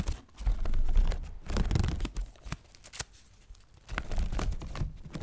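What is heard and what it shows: A small handheld folding fan with a paper leaf and bamboo ribs is flicked open and closed and handled with fingers close to the mic. Dry papery rustles and crinkles mix with sharp little snaps and clicks over a heavy low rumble from the handling. The sounds come in irregular bursts with brief quiet gaps between them.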